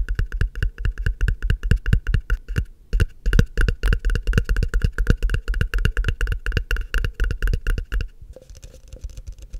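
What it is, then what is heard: Frosted plastic cup. Fingertips and short nails rapidly tap and scratch the base and sides of a tall, empty, hollow frosted translucent plastic cup held upside down. The close, dry taps have a deep hollow thump and a bright, clicky edge, with short pauses between bursts. Near the end the tapping stops, leaving a softer, quieter scratching.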